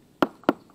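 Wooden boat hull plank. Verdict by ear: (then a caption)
Solid. Two taps on wooden hull planking give short, sharp knocks with a dull mid-range body and very little ring. The planking sounds solid.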